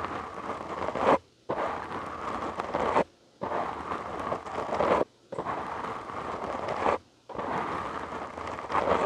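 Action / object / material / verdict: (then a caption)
scrape / foam microphone windscreen / foam / none. Fingertips and short nails of both hands scratch a black foam windscreen on a large microphone, producing a dense, crackly rustling with a strong midrange and bright, hissy top. The scratching comes in five sustained bursts, each swelling to a louder edge before stopping abruptly into brief near-silent gaps.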